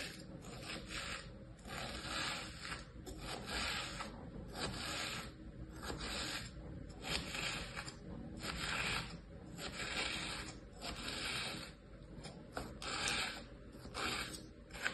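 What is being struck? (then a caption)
Kinetic sand in a plastic tray. A thin metal or plastic pick, held by fingers with long painted nails, scratches lines into a flat layer of tan kinetic sand in a light green plastic tray with imprinted shapes. The result is a steady series of soft, gritty scraping strokes with a bright, hissy texture, repeating at an uneven pace.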